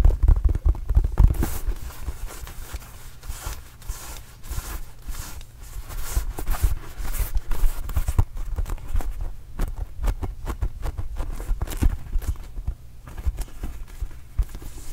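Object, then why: Small inflated rubber basketball. A small red and blue Arizona Wildcats rubber basketball, hollow and inflated, is held close to the microphone and tapped and scratched with the fingertips. The result is a steady stream of soft, low, hollow thumps that die away almost instantly, mixed with faint scratchy rubbing.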